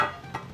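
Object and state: Hollow-sounding baked bread loaf.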